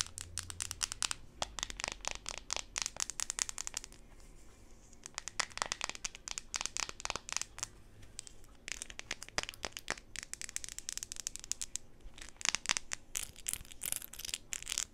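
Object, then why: Plastic flip-flop sandal. A blue jelly-plastic flip-flop sandal with studded straps and a thin, solid sole is held in the hands and scratched and tapped with long pink nails. Rapid bursts of bright, crisp clicks and crinkly scratching come in dense runs, broken by brief quieter pauses. Each tap is dry and short, with almost no ring.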